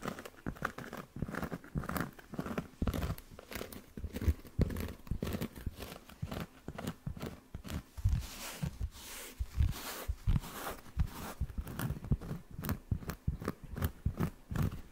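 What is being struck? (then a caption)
Round flat cork coaster. A round, flat, solid cork coaster held near the mic is scratched by fingertips and nails across its textured cork surface. The result is a steady run of quick, dry, crinkly scratches and crunches with a heavy low-end thump and little brightness. Each stroke dies away almost at once.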